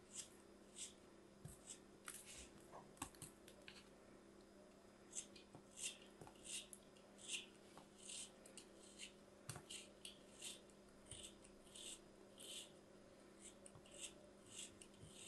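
A small, solid molded piece of kinetic sand, held in fingertips with long white nails, is shaved and scraped with a small metal blade, and the sand crumbles as it is cut. About twenty soft, bright, gritty scrapes and crunches come at an uneven pace, each short and dry, over a faint, steady low hum.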